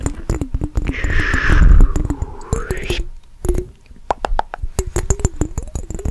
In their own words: 26:40 - fast tapping on mason jar with water